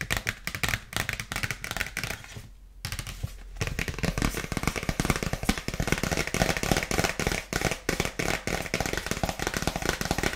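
A dark polka-dot paper gift bag with a ribbon is tapped with long nails, producing rapid, dense bursts of dry, papery taps and crinkly rustle. The tapping briefly pauses around the 2.5-second mark, then resumes steadily with short, crisp hits that carry bright paper texture.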